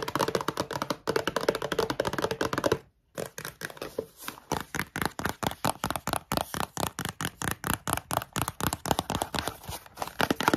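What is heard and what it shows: Long nails tap rapidly on a small Kellogg's Coco Pops cereal bar box made of thin printed cardboard, held in the hand, closed and apparently full. Dozens of quick, dry, hollow clicks come in steady bursts, with a brief pause near the three-second mark. Each tap dies away almost instantly with a papery mid-range tone.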